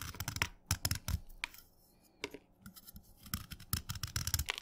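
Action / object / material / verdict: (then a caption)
scrape / chalk stick shaved with a steel knife / chalk / none. A steel knife shaves a solid wet orange chalk stick to a point, with crumbly curls collecting on the blade. Short, irregular scraping strokes give bright, crunchy rasps over dull low thuds. A quiet pause falls in the middle before the strokes pick up again.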